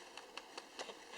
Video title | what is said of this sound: Dry Brined Turkey | you can actually hear how crispy and crunchy the skin is